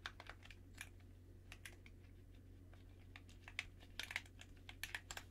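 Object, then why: Plastic game controller. Fingertips in white cotton gloves press and click the buttons and sticks of a hollow, black plastic handheld gamepad held in both hands in front of the chest. The result is an irregular run of quick, dry, bright clicks and clacks, some louder than others, each dying away almost at once over a steady low hum.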